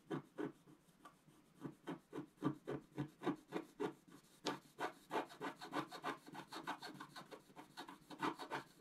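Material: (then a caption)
Coated paper. A pointed wooden stick scratches across a flat coated scratch-art paper sheet held in the other hand. It makes a quick run of short, dry, rasping strokes at an uneven rhythm, quiet and mostly in the low-mid range. The strokes grow denser and more continuous toward the end.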